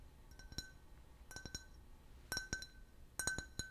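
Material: Glass.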